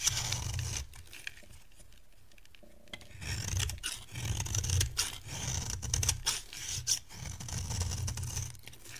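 A solid, dry, hand-sized yellow bar soap is carved and scraped with a metal knife blade, shedding crumbly shavings. Bright, rasping scrapes come in quick, uneven strokes over a low rumble, with a quieter pause near the start before the scraping resumes.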